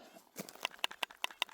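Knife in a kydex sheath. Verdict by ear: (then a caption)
Tight. A TJ Schwarz/Gideon's Tactical Lost Trail 5 (LT5) knife, held in its basic kydex sheath with a metal drop loop, is shaken. It makes a quick series of sharp, bright rattling clicks. The knife stays securely held and does not shake loose, so it won't bounce out while riding a bike.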